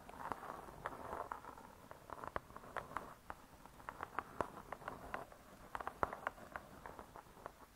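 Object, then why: Cardboard-covered spiral-bound book. Long nails tap quickly across the cardboard cover of a spiral-bound hardcover cookbook. The result is a quiet, irregular run of dry, clicky taps centered in the midrange, each dying away almost instantly with little low end, over a faint background hiss.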